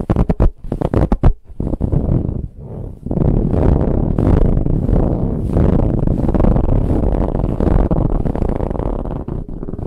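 Long nails scratch quickly across a large, soft, brown ribbed fabric pillow. A few sharp separate strokes open the clip, then after a brief quieter moment the scratching turns into a steady, dense, muffled rasp, heavy in the low end with little brightness.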